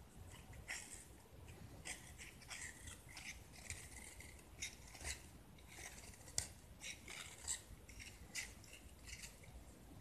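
A utility knife blade scrapes and carves crumbly chunks off a hand-held solid white gypsum brick, its blue paint mostly removed. Repeated short, dry, bright scraping strokes crackle against a low, quiet background, each ending almost instantly.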